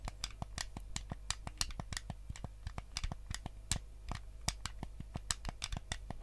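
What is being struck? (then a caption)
Plastic game controller. A white hollow plastic Nintendo GameCube controller is held in both hands while fingertips tap its buttons and scratch its shell. A rapid, uneven run of short, dry clicks and bright scratchy ticks stops almost instantly, over a steady low hum.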